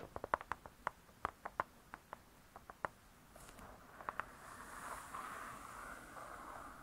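Long nails tap the cardboard cover of a spiral-bound hardcover cookbook, making around seventeen crisp, irregular clicky taps centered near 1 kHz. The hands lift briefly between taps, leaving short pauses. A quieter, steady rustling hiss with a high edge follows the last taps.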